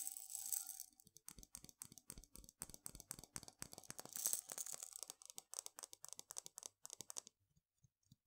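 Long fingernails tap on the glass sides of a medium glass jar with a gold metal screw lid, full of dried mung beans. After a brief bright, hissy rattle at the start, dozens of quick, sharp, high clicks follow in an uneven rhythm, each dying away almost instantly. They thin out into a few soft, sparse taps at the end.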